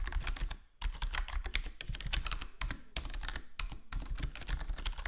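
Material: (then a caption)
Plastic. Fingertips of both hands type rapidly on a black HyperX Alloy Core gaming keyboard with foam-modded plastic keycaps, resting on a solid desktop board. The dense run of short, quickly decaying keystrokes has a deep, muted thock with bright clicky edges over a steady low rumble, with a brief lull just before the first second.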